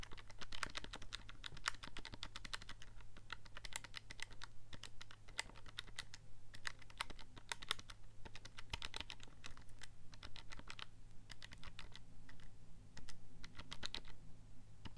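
A handheld black plastic scientific calculator with a hollow casing is held in both hands while thumbs and fingertips press and click its keypad buttons. Quick, sharp clicks with a bright edge near 3.7 kHz come in a steady, uneven stream, each dying out almost instantly. A constant low hum runs underneath the whole time.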